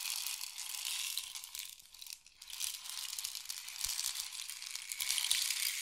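A long, hollow, painted wooden or bamboo rain stick is tilted and rotated, its filling cascading inside. The result is a continuous bright, hissing patter of tiny clicks with almost no low end, dipping softer around the two-second mark before swelling back up louder toward the end.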